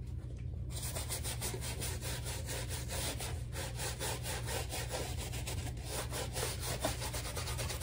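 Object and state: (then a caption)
Rubber slide sandal being scrubbed. A black rubber slide sandal resting on a towelled lap has its footbed and strap scrubbed with a soapy, wooden-handled bristle brush. Rapid, rhythmic scratchy brushing strokes with a bright, wet bristle hiss run steadily throughout over a constant low hum.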